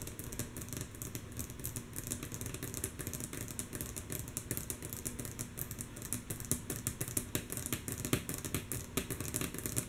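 Long natural fingernail tips of both hands tap rhythmically and softly on a flat, solid, light wooden tabletop. A rapid, steady stream of short, bright clicks with quick decay rides over a constant low hum.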